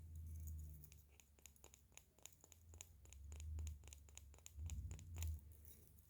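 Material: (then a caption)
Wood. Small wooden Christmas ornaments from Carrefour, decorated on one side only, are handled and tapped, producing a quick cluster of light, dry taps and clicks. A low hum sits beneath, swelling at moments.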